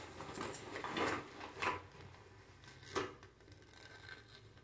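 A medium-sized, padded teal nylon/polyester zippered pouch, hollow and soft-sided, is held up close and scratched and tapped across its textured surface with long manicured fingernails. Soft, dry scratching and rustling runs throughout, with a few louder brushy taps standing out. The sound is quiet, close and crisp, with little low end and a bright edge.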